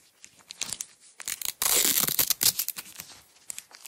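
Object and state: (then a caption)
Nylon hook-and-loop strap being peeled. A yellow nylon hook-and-loop strap roll held in the hands has its layers peeled apart and pressed together with long acrylic nails. Short, bright ripping and crackling bursts come in an uneven series and build to a sustained loud tearing rasp in the middle. The sound is almost entirely high-frequency, with little low end.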